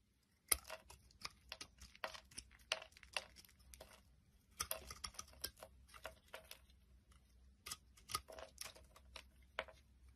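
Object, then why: Round bar of soap. A utility knife blade carves the raised bumps and surface of a solid round purple soap bar held in the hand, shaving off pieces. It makes a quiet, irregular series of short, crisp, bright scraping and crackling cuts, each dying away almost instantly, over a faint low hum.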